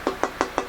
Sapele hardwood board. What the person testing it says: the notes really jumping off of this